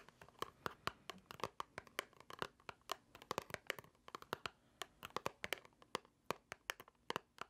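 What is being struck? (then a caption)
Small paperboard box. A small, hollow white paperboard box is held in the hands and scratched and tapped with long nails. Many quick, dry clicks and taps come in an irregular stream over faint scratching. Each tap is short and bright and dies away almost at once.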